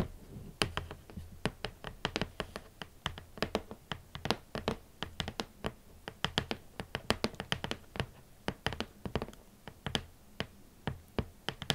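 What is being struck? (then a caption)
Cardboard shoe box. Fingertips tap gently and repeatedly on a boot box, producing a steady series of soft, short, dry taps with brief clicky highs over a low thud. The hits are irregular and closely spaced throughout.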